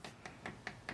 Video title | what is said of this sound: Air Fryer Beef Chimichangas - Dino's Easy Meals | listen how crispy that is